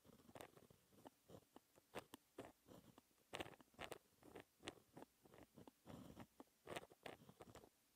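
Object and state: Pen writing on black paper.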